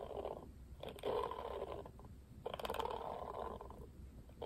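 A plastic paddle hairbrush: fingernails tap its plastic back, then the brush is turned and fingers scratch across the plastic bristles. The result is quiet, dry clicks and bursts of scratchy rustling, centred in the midrange with brief bright ticks.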